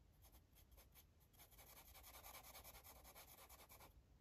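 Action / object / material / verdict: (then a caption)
scrape / felt-tip marker on a paper coloring page / paper / none. A blue marker is stroked back and forth across a paper coloring book page, rubbing and scratching the surface. Quick, scratchy strokes with a bright hiss start out spaced apart, then run together into a faster, denser scribble before easing off. The sound stays soft and close throughout.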